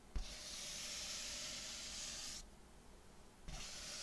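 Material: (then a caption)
Latex. Fingers rub and slide over the surface of an inflated, hollow purple metallic latex balloon, making a bright, airy squeaking hiss. A soft thump opens a long stroke of about two seconds, then after a short quiet gap a second stroke starts with another thump.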